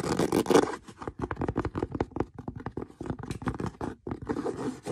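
Fingernails scratch a brown stitched leather boot, opening with a dense, loud rasping burst. A rapid run of short, dry scratching strokes follows, each a brief broadband rasp reaching into bright highs. A heavier stretch of continuous scratching closes the clip.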